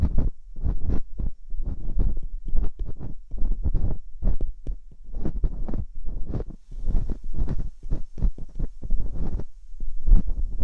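Metal dental picks scratch steadily inside the canals of both silicone binaural microphone ears, producing a rapid, dense series of short, scraping, rustling bursts. The sound is close and dominated by deep low-end thumps, with faint brighter scratching above.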